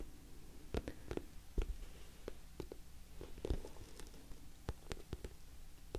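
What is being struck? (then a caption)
Patent vinyl cosmetic bag tapped with fingernails. Long nails tap the sides of an orange, glossy patent-vinyl cosmetic bag with a zipper that appears filled. Quiet, sharp, irregular taps carry a soft low thud and die away almost at once over a faint low background hum.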